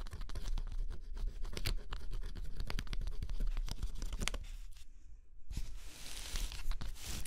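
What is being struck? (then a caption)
Thin cardboard puzzle piece with scratch-off coating. A stylus scratches the black coating off a thin cardboard scratch-off jigsaw puzzle resting on cloth, making dense, rapid scratching strokes with low thumps underneath. The scratching briefly quiets around the fifth second, then returns as brighter, hissing scrapes.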